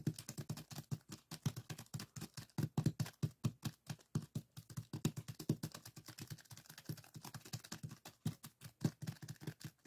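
Fingertips of both hands tap and scratch a small clear plastic zip-lock bag full of purple sand granules resting on a wooden table. The result is a quiet, fast, irregular patter of short, dull, low thuds with very little brightness, each tap dying away almost instantly.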